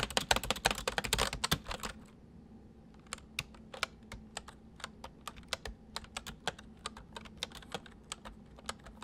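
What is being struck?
Plastic mechanical computer keyboard.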